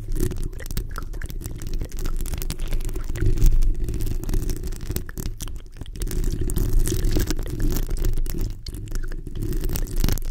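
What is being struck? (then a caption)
Metal mesh microphone grille. Long nails from both hands scratch the hollow metal mesh grille of a black microphone. A continuous, dense scratching and rubbing is heard, coming through as a deep, muffled rumble with little brightness and a fairly steady level that dips briefly here and there.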